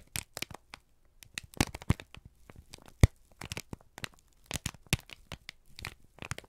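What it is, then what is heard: Crumpled kraft paper. A single thin, crumpled sheet of brown kraft paper, held in both hands, is squeezed and crinkled with the fingertips and thumbs. It gives a quick, uneven run of dry crackles and crisp rustles that stop and start. Each burst is short and snappy, and the whole sound is soft and close.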